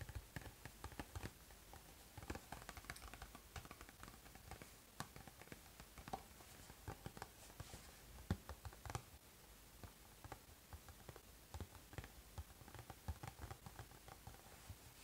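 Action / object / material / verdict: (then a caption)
tap / small cardboard snack box / cardboard / none. A small rectangular cardboard Pocky snack box is held in both hands while its front face is tapped with the fingertips and thumbs. A steady run of light, quick taps gives short, dull thumps with a soft papery click that die away almost instantly. The result is a quiet, continuous patter that stays low and muffled.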